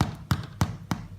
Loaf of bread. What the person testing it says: give it a knock, and if it sounds hollow, you're good to go